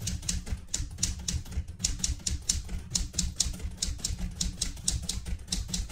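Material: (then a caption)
Metal. Fingertips with red-painted nails type continuously on the round keys of a vintage light blue portable manual typewriter with a metal body. About twenty quick keystrokes each land as a sharp, bright clack over a low mechanical thump, and each dies away almost at once.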